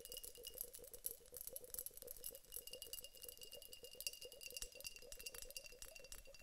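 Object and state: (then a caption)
Glass vase filled with water beads. A teardrop-shaped glass vessel filled with clear water beads is held in the hands, shaken and tapped with long acrylic nails. The beads rattle inside in a dense, steady stream of quick, bright clicks and clinks with very short decay. A faint glassy ring near 2.8 kHz sustains underneath.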